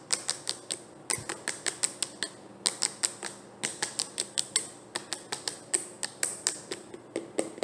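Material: Plastic.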